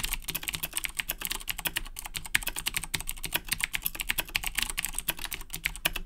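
Both hands type continuously with their fingertips on a black Razer BlackWidow 2010 Edition mechanical keyboard with Cherry MX Blue switches and plastic keycaps. A fast, steady stream of sharp, bright clicks and clacks is heard, each dying away almost instantly, over a faint low thud from the keys bottoming out.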